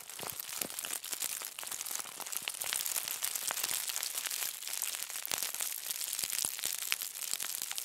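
A thin sheet of aluminum foil resting on a table is gathered and crumpled by both hands with long nails. The result is a steady, dense, bright crinkling full of sharp crackles and snaps, with almost no low end, lasting the whole clip at an even level.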